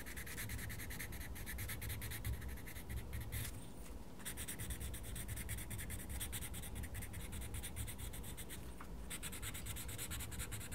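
A wooden coloured pencil makes rapid scratching strokes across a page of a small paper colouring book. The quick, steady scratching has brief pauses near four seconds and nine seconds, over a low, constant rumble.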